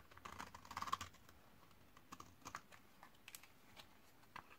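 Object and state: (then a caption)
Dry laundry soap bar. A metal utility-knife blade scrapes across a thinned, solid white bar of 72% laundry soap from 2012, dried for 8 years and held in the hand, building up powdery shavings. The clip is a quick series of dry, crisp scraping clicks centred near 1.1 kHz, with a busy cluster in the first second and scattered, sharper strokes afterward. Each stroke is short and brittle, with almost no ring.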